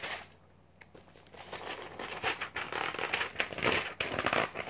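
A glossy paper magazine is held spread open while fingertips flip through its thin pages one after another. After a quiet start, bright, dry fluttering and crinkling swell into dense, crackly page rustles that grow louder toward the end.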